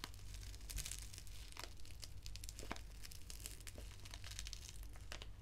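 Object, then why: Foil-lined paper tea sachet. A small, flat, foil-lined paper sachet of Assam Breakfast black tea is crinkled and scratched with long nails, and may be torn at the edge. Dense, bright crackling and crinkling runs throughout, with sharper snaps scattered across the clip over a steady low hum.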